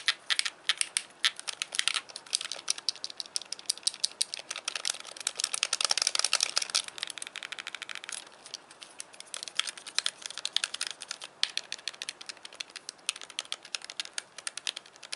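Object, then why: Hand-held plastic game controller. Fingertips click the buttons and tap the D-pad of a hand-sized, white, hollow plastic Wii Classic controller. The result is a steady stream of quick, dry, bright plastic clicks with no low end and almost no ring, growing denser and louder between about 5 and 8 seconds.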